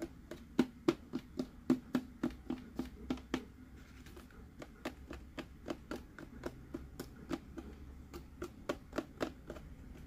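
A hollow plastic Mickey head sipper cup with a green hat is held and turned in the hand while fingertips and nails tap its face and base. About 33 short, dry, hollow taps come at an uneven pace of roughly three to four per second, with a low knock around 250 Hz and almost no ring. The taps are louder at the start, softer through the middle, and pick up again toward the end.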